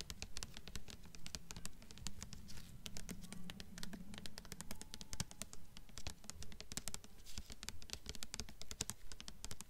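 Long fingernails tap rapidly on the front cover of a held-up blue hardcover book with a glossy paper dust jacket. The taps are quick, crisp and dry, with sharp bright clicks that stop almost instantly, running in a steady, slightly uneven patter over a low, soft background rumble.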